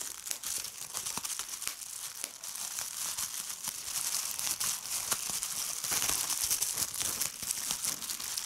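A sheet of clear plastic bubble wrap is squeezed by fingertips with red nails, popping its bubbles. Sharp, bright snaps and crackles pop out over a constant high crinkling hiss, with almost nothing in the low end.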